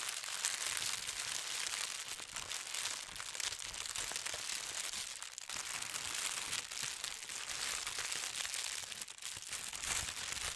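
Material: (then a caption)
Paper. Fingertips with red-painted nails smooth and rub a large, thin white tissue paper sheet with a gold star print lying flat on a bed. A steady, bright crinkling and rustling continues throughout at an even level, with almost no low end.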